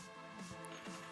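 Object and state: Nothing is struck.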